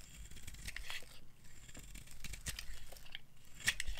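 A hand-sized solid white bar of dry soap with a black coating, held in the hand, is carved with a metal knife, shedding crumbly white flakes. Quiet, dry scraping and crisp cutting clicks repeat throughout, with a sharper, brighter snap near the end.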